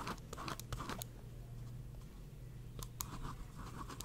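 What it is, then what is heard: Pen scratching on a paper notepad. A pink pen scratches steadily across a small paper notepad held in one hand while drawing. Quiet, dry scratching strokes come in brief bright bursts, clustered at the start and again near the end, over a steady low hum.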